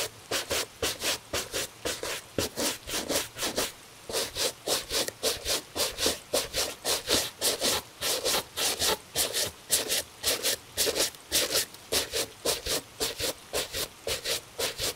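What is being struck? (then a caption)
Leather shoe scrubbed with a bristle brush. A tan Italian leather cap-toe dress shoe, hollow and held in a gloved hand, is scrubbed with a bristle shoe brush. About 35 brisk back-and-forth strokes come in a steady rhythm, each a bright, scratchy bristle swish with a soft mid-range body that cuts off quickly between strokes.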